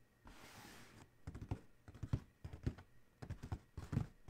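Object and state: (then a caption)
Hollow cardboard shoe box. Fingertips of both hands tap quickly on the closed lid of a large, hollow, black cardboard Adidas shoe box. After a brief soft rustling hiss, quick clusters of dull, low, hollow thumps come in uneven bursts, each tap short and dry with almost no ring.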